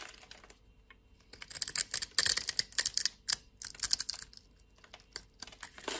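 A solid pale green bar of soap held in the palm is shaved with a metal utility knife blade. A series of crisp, bright scraping and cutting strokes comes in short bursts, with the loudest cluster near the middle and quiet pauses between. Almost all of the sound sits in the high range, with very little low end.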